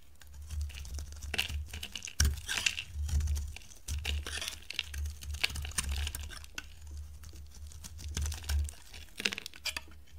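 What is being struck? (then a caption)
Bar of soap cut with a blade. A pink oval bar of dry soap is held in the hand while a metal box-cutter blade shaves slices off it. Dense, crisp crackling and crumbling scrapes come in bursts, bright and dry, over a steady low hum.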